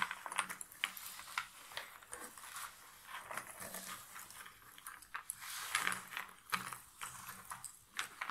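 Both hands with long nails scratch through a pile of cardboard jigsaw puzzle pieces in a box lid, then rub flat-handed over them. The result is a steady, dense rustle of crisp, bright clicks and scrapes that swells and dips without stopping, with almost no low end.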